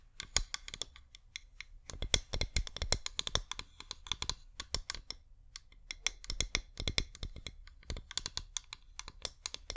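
A flameless wax pillar candle is tilted in the hands and rapidly tapped with long nails. The result is a dense run of short, dry clicking taps, bright and crisp, with a soft low thump under many of them. The bursts come in quick clusters with brief pauses between them.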